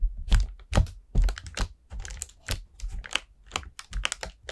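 Long nails tap and scratch across the surface of an expanded, hollow orange paper lantern made of thin paper over wire ribs. The result is a quick, uneven run of short, dry taps with a low thump beneath each one and bright scratchy edges on top.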